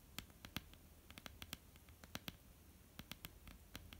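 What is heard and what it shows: Long almond-shaped painted nails tap and lightly scratch a flat, solid wooden tabletop. Around twenty quiet, sharp clicks, irregularly spaced, each with a bright tick over a soft low knock and almost no ring. Faint scratching fills the gaps between them.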